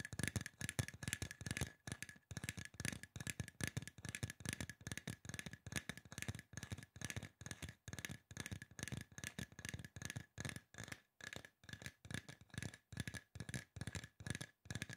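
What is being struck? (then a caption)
Aluminum spray bottle. Fingertips and nails of both hands tap rapidly on a hollow silver aluminum spray bottle. The result is a dense, fast stream of short, dry knocks with a low, hollow thump body and a faint steady metallic ring around 1.6 kHz, broken by brief pauses.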